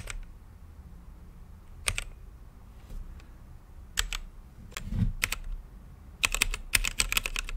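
Fingertips type on an RGB mechanical keyboard with plastic keycaps set in a clear acrylic case. Sharp, bright keystroke clicks come in irregular bursts over a faint low hum, each dying away almost instantly. The clicks bunch into a faster run of typing near the end.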